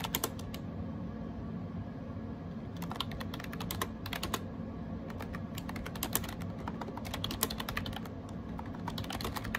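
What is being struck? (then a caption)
Plastic keyboard with round keycaps. Fingertips type rapidly on a gray AJAZZ 308i wireless Bluetooth keyboard with round plastic keycaps, producing a steady stream of sharp, bright plastic clicks in bursts. Each tap decays almost instantly over a constant low background hum.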